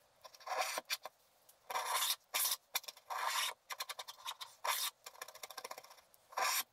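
A wooden stylus scrapes the black wax coating off a flat sheet of black wax-coated scratch art paper in continued strokes. Longer bright, rasping scrapes alternate with bursts of short, quick scratches, with quiet gaps between them and almost no low end.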